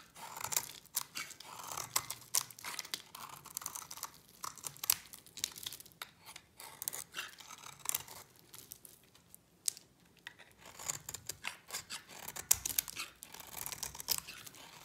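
A solid white bar of dry soap, held in the hand, is shaved with a utility knife blade. The result is a quiet, continuous run of crisp, bright scraping and crumbling with brief crackly bursts, mostly high-pitched and with almost no low end.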